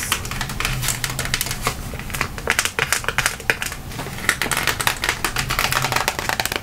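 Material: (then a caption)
Cardboard. A round, flat, printed cardboard color wheel, thin and hand-sized, is held in both hands and tapped rapidly with long nails. The result is a quick run of dry, crisp clicks with bright, papery highs centered around 1.9 kHz that die away almost instantly, over a faint low hum.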